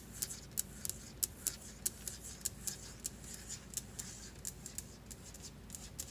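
Fingertips with long glitter nails tap and scratch a large, solid white marble-look stone countertop in quick succession, making about 21 sharp, bright clicks. Each dry tick dies out almost at once over a low, steady background hum.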